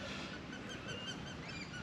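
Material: Nothing is struck.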